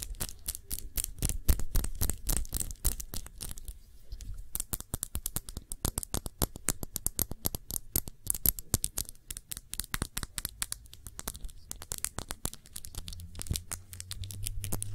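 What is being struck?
Small glass perfume bottle.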